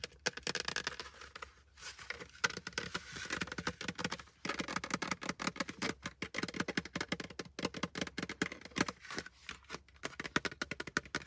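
A plastic hard hat is tapped fast and aggressively with fingers throughout for ASMR, producing a dense, uneven stream of short, dry, bright taps with no ring. The tapping comes in rapid bursts with brief pauses between them.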